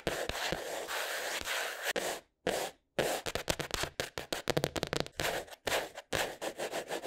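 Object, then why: Cardboard sketchbook cover. Short painted fingernails and fingertips scratch, rub and tap the brown kraft cardboard cover of a flat spiral-bound sketchbook with a solid paper block under it, lying on a wooden table. A steady dry scratching rasp fills the first two seconds, then gives way to a quick, uneven run of short scrapes and taps separated by brief silences.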